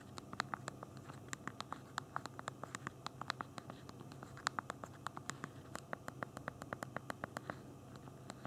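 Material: Plastic.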